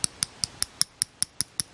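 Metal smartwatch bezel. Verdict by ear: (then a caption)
Normal. Ten sharp, bright metallic clicks come from tapping the metal bezel of a Samsung Gear S3 smartwatch, each a brief high-pitched tick with almost no ring. The bezel is not loose and still rotates solidly, so this tap rattle is normal.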